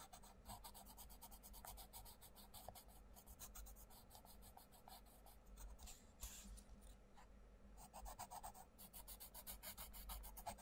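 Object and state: Pencil colouring on a paper page.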